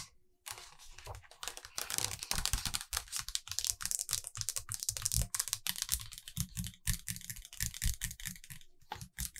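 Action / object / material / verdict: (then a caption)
tap / hardcover book with glossy paper pages / paper / none. Long acrylic nails turn a glossy paper page of a large open hardcover photo book, "Fairy Tales," then rest and tap on the pages. Quick, dry taps mix with crisp rustling and crinkling of the paper throughout.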